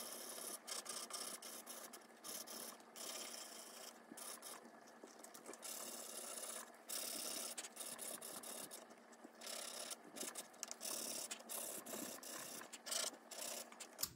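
A nail file is rubbed back and forth across a long acrylic nail tip on a finger of a small, solid brown plastic nail practice hand, held by fingers with long nails. It makes a steady, bright, dry rasping scratch in quick repeated strokes with almost no low end, continuing for about fourteen seconds.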